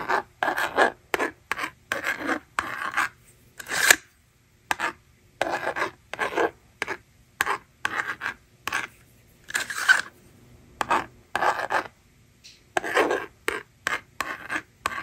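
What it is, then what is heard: Plastic magnetic drawing board scratched with stylus. A yellow plastic stylus scratches numbers onto the screen of a small, hollow plastic magnetic drawing board held in one hand. Short, dry, raspy scraping strokes come in bursts separated by silent gaps, each with a bright, hissy edge and almost no ring.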